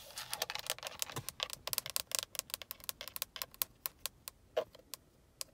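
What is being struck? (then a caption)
Plastic steering wheel airbag cover with metal emblem. Long acrylic nails tap and scratch the black grained plastic airbag cover at the center of a steering wheel and its chrome KIA badge, the cover hollow-backed. Quick, dry, high-pitched clicks and scratches come in dense clusters at first, then thin out into separate sharp taps with almost no ring.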